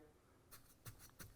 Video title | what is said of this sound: Pro Tips: Shake, Then Bake Your Repair Materials - Concrete 101 - DIY Project Guide | You can hear it, it's hard to dig into.